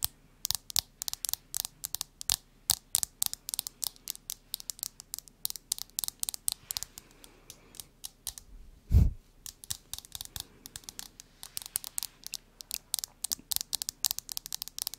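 A smartphone in a solid, flat hard plastic case with a marble print is tapped and scratched with long nails, giving rapid, sharp, dry clicks with very short ring and soft scratching between them. A single louder, deeper thump stands out near the middle before the quick tapping resumes.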